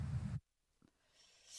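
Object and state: Nothing is struck.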